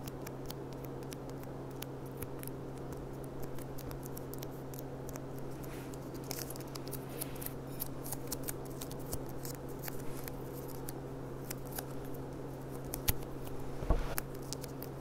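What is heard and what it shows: Long dark nails tap quickly on the bowl of a clear, empty stemmed glass goblet with a gold rim and gold stem bead, lying on its side. A rapid run of light, bright clicks sits over a steady low hum, with a couple of sharper, louder taps near the end.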